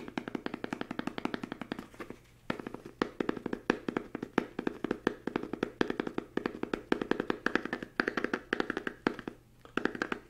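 A small solid book with a green patterned fabric cover is held up in both hands and tapped quickly with fingertips and nails. The result is a fast, steady patter of dozens of short, dry, muffled taps with a mid-range thump and almost no ring. Brief pauses fall near 2 and 9 seconds.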